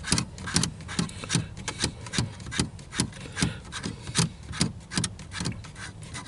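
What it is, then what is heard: Plastic car air vent. Fingertips and nails scratch the slats of a small, hollow, dark plastic round dashboard air vent with louvers beside a car's steering wheel. Quick, uneven raspy scratches repeat at about two per second, with a bright hiss over a hollow low body.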